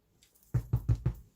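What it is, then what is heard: Bread loaf, hollow (baked through). Four quick, low, hollow knocks on a freshly baked homemade bread loaf just tipped out of its oiled tin, each a dull thud that dies away almost at once. The hollow sound shows the loaf is baked through.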